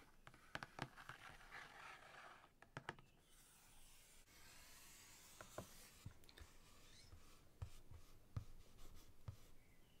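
Long fingernails tap and scratch across the printed top surface of a closed, thick ring binder with a glossy laminated cardboard cover. Sharp, short clicks are scattered between stretches of soft, bright scratching and rubbing, with a steadier hissy scrape through the middle. The whole clip stays quiet and close.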